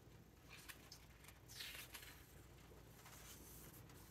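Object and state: Paper hardcover book.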